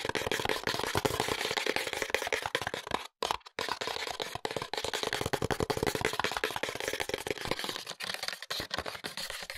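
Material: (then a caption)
Paperboard. A small paperboard box with a window, holding a bottle of hair oil and held upright, is tapped and lightly scratched with fingertips and short nails. Many quick, dry tapping and scratching sounds run together across most of the clip. The sound is bright and papery, with brief silent gaps near the three-second mark.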